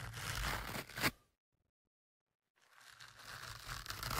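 A thin metal ear-pick tool scratches and pokes into the soft, porous black foam windscreen over the left of two studio microphones. Dense, bright scratching and rustling with a low rumble runs for about a second, ending on a sharp louder scrape. After roughly a second of silence, the scratching returns and builds steadily to the end.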